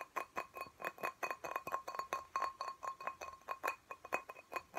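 Fingernails tap rapidly on the wall of a small, clear glass plant pot filled with soil and a cactus, giving about 27 quick, bright clinks over five seconds. Each tap rings briefly at a high glassy pitch, with tones near 1 kHz and 2.5 kHz, and the taps fall in an uneven rhythm.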